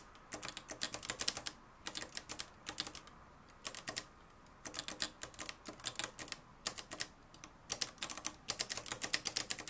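A mustard-yellow, plastic-cased manual typewriter with a metal mechanism is typed on continuously, fingertips striking its dark plastic keys. Quick, bright clacks come in bursts separated by short pauses. Each strike is sharp and dies away almost instantly.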